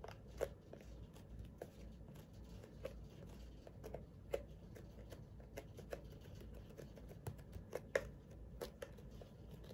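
A large, hand-sized white plastic CeraVe moisturizing lotion pump bottle that appears full is held in both hands and tapped and scratched with long dark-painted nails. Quiet, short, dry clicks and taps centered around 550 Hz stand out over a soft, low rumbling background of scratching, with almost no ring after each tap.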